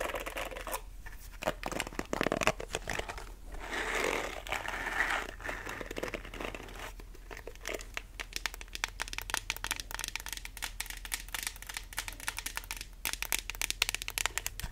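Long manicured nails scratch and flick across the dense black plastic bristles of a small handheld pink plastic detangling brush, held solid in both hands, and rub along its smooth pink back. The result is a dense stream of rapid, bright, crackling ticks and scratches, with a softer, hissy rubbing passage early on and a faint steady low hum underneath.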